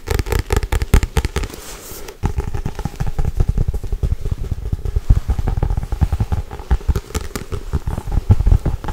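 Long white nails tap and scratch fast on the front and back covers of a solid Harry Potter paperback book. The dense, dry taps are low and thumpy with almost no ring, and a short, softer scratching stretch comes before the rapid tapping picks back up.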